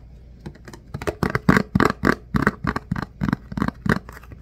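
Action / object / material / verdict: tap / clear plastic food container with lid / plastic / none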